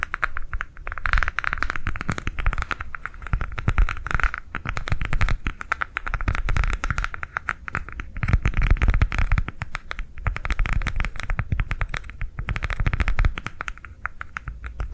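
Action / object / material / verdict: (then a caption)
scrape / rolled silicone coaster / silicone / none. A green silicone coaster rolled into a hollow tube is held upright and tapped and scratched along its ridges with long nails. The result is fifteen seconds of fast, continuous tapping with dull, low-heavy thumps and a raspy scratching band near 1–2 kHz, with short dips in loudness between bursts.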